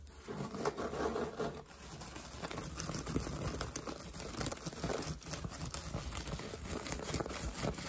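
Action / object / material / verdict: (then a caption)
scrape / woven straw hat / straw / none. Fingertips and short nails rapidly scratch and tap a wide-brim hat of woven straw with a fabric edge trim, worn on the head. The sound is a dense, crinkly rustle of quick, dry taps and scrapes over a low rumble, running continuously with little ring after each stroke.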